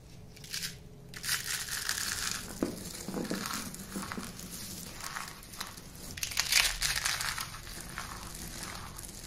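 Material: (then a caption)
Soap. Handfuls of dry yellow-green shredded soap crumbs are squeezed and crushed in the fist, then let fall back onto the heap. Dense, irregular crunching and crinkling fills the clip with bright, high-frequency crackle and short bursts, the loudest near the middle and around six and a half seconds.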